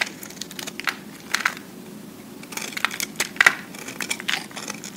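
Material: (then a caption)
Soap. A metal cutter blade shaves and scrapes along the sides of a solid, hand-sized pressed cube of recycled soap, held close. The sound is a dry, crackling scrape broken by sharp, bright crunching bursts that stop almost instantly, over a quiet low hiss.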